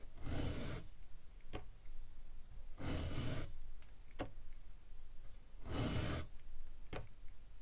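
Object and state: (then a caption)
Kinetic sand being sliced. A metal cheese slicer scrapes across one face of a solid, palm-sized, molded purple glitter kinetic sand pyramid on a white table, shaving off slices. Repeated soft, gritty rasping strokes with a low, crunchy body are heard, separated by brief sharp ticks.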